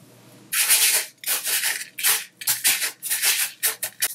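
A layer of dry, loose colored sanding sugar on a white tabletop is stroked with a fingertip and rubbed under a flat palm. Bright, gritty rubbing sounds come in repeated bursts, starting at about half a second, with short silences between strokes.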